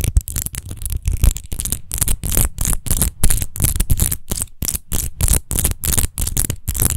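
Long nails quickly scratch and tap over a large, hollow, clear glass rose-shaped wine bottle with a rose-textured base, lying apparently empty on a fuzzy mat. The result is a rapid, uneven stream of short scratchy bursts, each pairing a bright, crisp rasp with a dull low thud. There is almost no ring between strokes.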